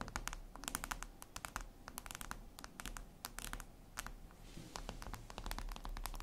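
Long acrylic nails scratch and tap across a flat, solid, reflective glass mirror tabletop surface. Quick, sharp, bright clicks arrive in dense irregular bursts, mixed with short scraping strokes over a steady low hum. Each tick dies away almost at once.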